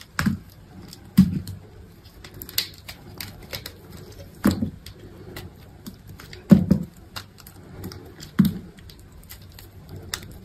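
A hand-held solid green bar of dry soap is cut with a metal utility knife blade, slicing off slabs and shavings. The result is a run of short, dry scraping and cutting crunches, with a few heavier low thuds standing out over quieter, crackly knife scratches.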